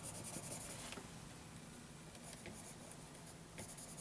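A graphite pencil rubs in short shading strokes across a lined paper notebook page. Quiet, dry scratching with a bright papery hiss comes in bursts at the start, near the middle and at the end, over a faint steady low hum.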